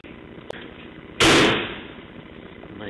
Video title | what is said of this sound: 1968 Ford Galaxie 500-- Show & Tell v2 (indoors)-- Oakdale, CA-- Jun 7 2008 | when you slam a door, it sounds solid